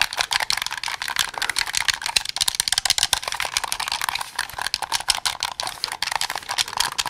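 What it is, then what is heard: Plastic game controller. Fingertips rapidly press and click the buttons and triggers of a white and black hand-held plastic Xbox game controller with a hollow shell. The result is a dense, fast stream of short, sharp, bright clicks that sounds like typing, with almost no low end and no ring after each click.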